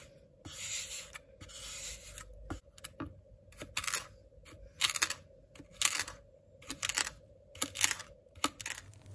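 A white ceramic knife slices a slab of flattened blue kinetic sand into strips on a white cutting board, its blade pressing through the solid packed sand. Each cut gives a short, bright, gritty crunch and rasp, repeating at an uneven pace of about one per second. A faint steady hum near 600 Hz sits underneath throughout.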